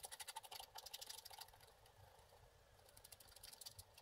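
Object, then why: Wax-coated scratch art card scraped with a wooden stick. A wooden stick scratches the figure area of a flat, wax-coated scratch art sheet held by the left hand. Quick, dry scratching strokes come in fast bursts with a bright, hissy edge and little low end. They ease into a softer, steadier scrape midway before picking up again near the end.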